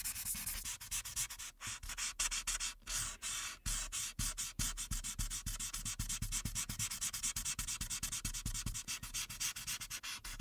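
A light-blue marker tip rubs back and forth in coloring strokes across the top background of a printed paper coloring sheet lying flat. The rapid strokes make a steady, bright, scratchy rubbing that pulses with each pass and has little low end.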